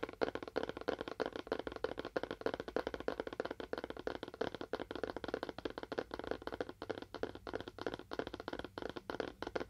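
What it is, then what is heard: Cardboard box. Fingernails tap rapidly and unevenly on a cardboard box with a faux wood finish. Each tap is a dry, short, papery click centered in the midrange, with almost no ring.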